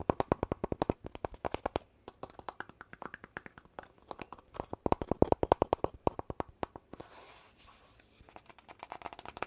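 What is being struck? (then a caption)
Cardboard tube. Fingertips and nails tap quickly along a long, hollow, empty-looking red cardboard poster tube with a gold rim near one end and a telescoping cap, held in one hand. The taps come in rapid, uneven bursts of short, dry, hollow knocks with a low-mid tone and pauses between. Toward the end they give way to a soft rubbing scrape along the tube's body, then a few more light taps.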